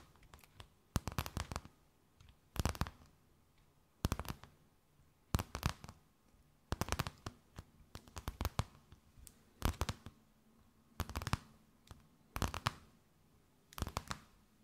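A thin, empty, clear plastic bag held between both hands is tapped, scratched and crinkled with long nails. Quick bursts of sharp crackling and crinkling come in clusters roughly every one to one and a half seconds, with faint taps and rustles between them. A low hum sits under the dry, close-sounding bursts.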